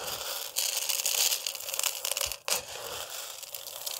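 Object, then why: Dry rice grains in a plastic container. Fingers with long nails dig into and rub dry rice in a clear plastic food container. The result is a dense, bright, gritty crunching and rustling that drops off briefly around the middle, then resumes.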